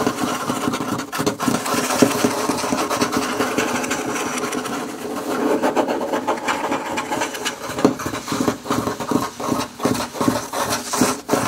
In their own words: ASMR - Scratching and tapping on wood table (+ fingerpicks)